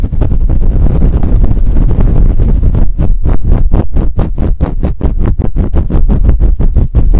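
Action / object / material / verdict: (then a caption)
scrape / faux fur microphone windscreen / faux fur / none. Fingertips and long nails scratch fast and hard across the top of a fluffy faux fur windscreen on a microphone. The sound is a loud, dense, low rumbling rustle that turns into rapid, rhythmic scraping strokes about halfway through, with almost nothing bright.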